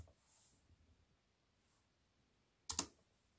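A slim, compact wireless keyboard with black plastic keys in a grey metal-look frame lies on a wooden table while fingertips with white-painted nails make sparse key presses. After nearly three seconds of near silence, two quick, bright plastic clicks sound close together near the end and die away almost instantly.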